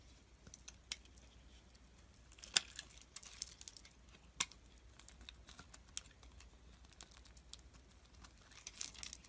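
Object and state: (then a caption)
Glycerin soap bar being shaved. A utility knife blade shaves and scrapes thin sheets off a solid purple translucent glycerin soap bar held in the hand. The result is quiet, bright, crackly scraping with irregular sharp ticks and crisp snaps, two of them noticeably louder than the rest.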